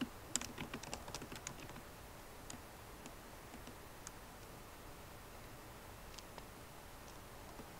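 Long nails and fingertips type on a MacBook Pro keyboard with plastic keycaps set in an aluminum body. A quick flurry of light, bright clicking taps comes first, then the typing thins to a few scattered soft taps over a quiet background hiss.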